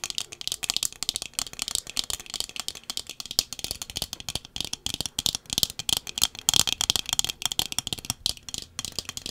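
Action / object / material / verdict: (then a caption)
tap / wire metal-frame sunglasses with tinted lenses / metal, lens / none. Small round wire metal-frame sunglasses with dark tinted lenses are held in both hands in front of a microphone while long fingernails tap the lenses and frame. The taps come as a rapid, nearly continuous stream of sharp, bright clicks with a rattling texture, mostly high-pitched and each dying away almost instantly.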